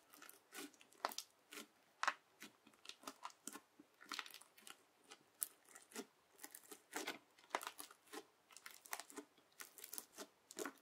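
A yellow plastic knife, held with long nails, presses into and drags through a large flat patch of teal crunchy bead slime. The result is a quiet, steady run of crisp, bright crackling crunches, with short bursts of popping beads and no low end.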